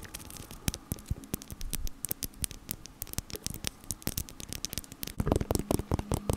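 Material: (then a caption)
Metal mesh. Long nails tap rapidly on the small, hollow black metal mesh grille of a desktop microphone, making sharp, dry clicks with bright ticks that die away almost at once. The taps sit over a low, steady hum and noise, and grow denser and louder in a flurry over the last second or so.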